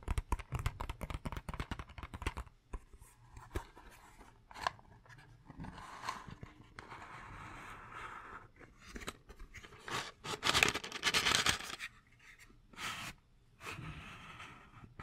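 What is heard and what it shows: Fingertips and nails tap and scratch the surface of a small, hollow purple cardboard matchbox held in the hands. A rapid run of dry, hollow taps opens the clip, followed by softer rubbing and bursts of bright, crackly scratching with short pauses between them.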